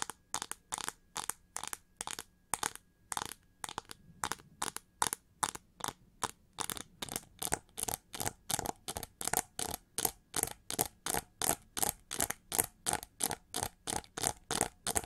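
Long fingernails on both hands scratch and tap the ridged, hollow wings of an upright, winged gold chrome-plated plastic hair brush. The result is a steady run of quick, separate, bright, crisp bursts with a dry, clicky edge and almost no ring, growing slightly louder toward the end.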